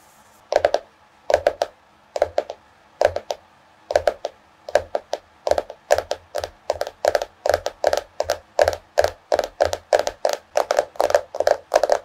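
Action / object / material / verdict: tap / cardboard-covered hardcover notebook / cardboard / none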